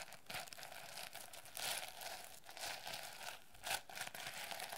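A medium-sized hardcover notebook covered in reversible turquoise and yellow plastic sequins is held in the hands while long red nails scratch and tap across the sequins, flipping them. The result is a dense, bright crinkling and rustling with short crisp bursts that swell and fade throughout.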